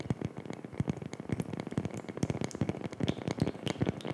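Long fingernails scratch and tap a round, flat, solid, palm-sized coaster of light wood with a laser-etched design. The result is a quick, uneven run of dull, low, woody knocks mixed with brief scratchy clicks. Each tap dies away almost at once.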